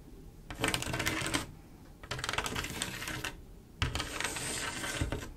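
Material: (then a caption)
Glass. A single long acrylic nail tip taps and scratches a large, solid, flat glass mosaic tile picture made of silver mirror-like tiles. Three bursts of rapid, bright clicking and scraping are heard, separated by brief quieter pauses. Each tap ends quickly with little ring.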